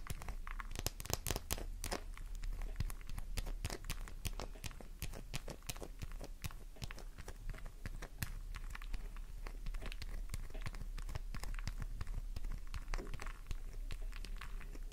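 A solid pink flower-shaped bar of soap with a scraped surface, held in the palm and scratched hard with long nails. A steady run of dense, crisp scratching and crackling clicks is heard as soap shavings fall off.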